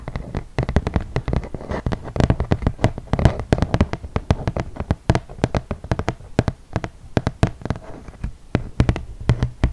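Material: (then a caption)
Cardboard. A flat, solid, yellow printed cardboard game board about 30 cm square is held upright and tapped with long nails and fingertips on its glossy surface. The result is a rapid, uneven stream of short, dry taps with a dull, low body and sharp clicky edges, each dying away almost at once.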